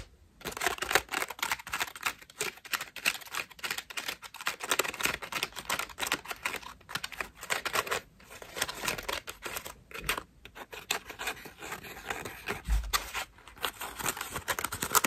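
Long nails tap and scratch the petals of a cream foam bath loofah, then squeeze the foam. The result is a dense run of quick, crisp, bright scratching and crackling clicks with brief pauses, little low end, and no ringing after each sound.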